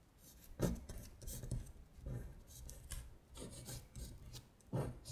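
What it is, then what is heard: Paper worksheet being scratched. A long stiletto acrylic nail traces the characters of a Korean syllable grid printed on a thin paper worksheet lying flat on a glittery surface. The nail makes soft, rasping scratch strokes that come in short bursts with brief pauses between them, and a few strokes stand out louder than the rest.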